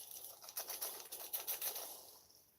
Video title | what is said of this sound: Ep. 7 The Lion King (McDonalds Pride Rock Collectables) | if you shake this you hear the rumblings of I guess Pride Rock